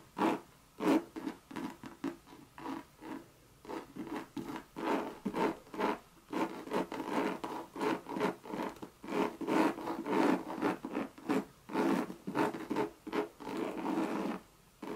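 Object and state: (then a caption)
Coated canvas handbag being scratched. Long red nails scratch the coated-canvas body of a Louis Vuitton monogram bucket bag in quick, irregular strokes. Each stroke is a short, dry, rasping scrape centered in the low-mids, with little bass and a fast fade. The strokes come in uneven bursts that grow denser and louder toward the middle and end.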